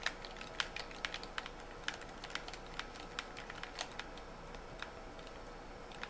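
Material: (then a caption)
Plastic. Fingertips and nails tap and click quickly on the shell and buttons of a white, hollow plastic Xbox-style gamepad held in both hands in dim light. The result is a steady stream of short, dry, bright plastic clicks at an irregular pace over a quiet background, each dying out almost instantly.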